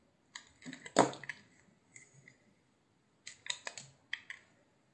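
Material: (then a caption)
Soap. A utility knife slices thin layers off a solid, hand-sized blue bar soap with an embossed logo and cream interior, held in the palm. Quiet, crisp scraping clicks and short crackling bursts come in two clusters separated by a pause, with the loudest cut near the one-second mark. Each cut ends almost instantly with a dry, bright texture.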